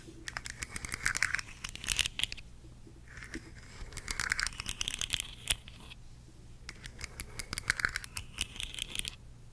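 Long decorated nails tap and scratch along the ridged, hollow segments of a hand-sized rainbow plastic articulated slug fidget toy. Rapid, bright clicking taps and dry scratchy rasps come in three busy bursts separated by brief quieter pauses, with a faint steady low hum underneath.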